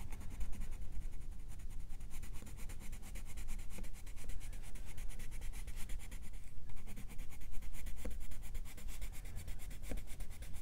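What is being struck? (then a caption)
Colored pencil on a thin paper coloring-book page. A colored pencil held in the fingers is rubbed in short strokes over the drawing on a thin paper page of an open coloring book. It makes a continuous, scratchy, bright rubbing with a quick stroke rhythm over a faint low hum.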